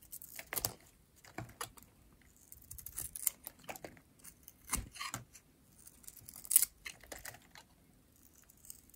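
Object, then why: Bar of soap shaved with a metal blade. A metal utility blade shaves curls from the surface of a light blue, rectangular, solid dry soap bar held in the hand. The result is a quiet series of short, dry, crisp scraping cuts, bright and airy with very little low end, coming in irregular bursts with brief pauses between strokes.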